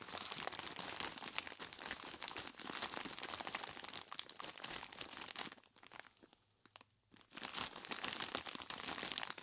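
Gloved hands squeeze and knead a large clear plastic bag tied at the top and full of ice cubes, making dense, bright crinkling of the plastic and crunching of the ice. The handling goes quiet for about a second and a half near the middle, then the crinkling and crunching resume at full intensity.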